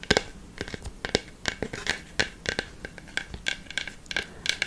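Long fake nails scratch and rub across the flat wooden face of a large round plywood balance board with a black plastic dome in the centre, held upright. The result is a rapid run of short, dry, bright scratching strokes with a crisp hiss and no ring.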